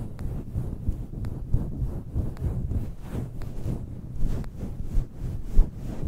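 Fingertips and nails scratch and rub across a fluffy grey-white synthetic fur windscreen covering a small black microphone. The result is a dense, muffled, low rumbling scrape with nearly all its energy in the deep bass, broken by faint brief bright clicks and a few louder swells.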